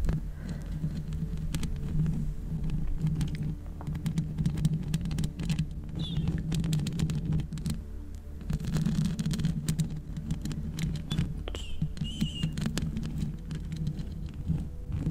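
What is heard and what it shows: Long red acrylic nails tap and scratch the hollow metal mesh grille of a black microphone with both hands, giving a dense, continuous patter of short clicks and scrapes over a steady low hum near 156 Hz. Faint high chirps come through now and then.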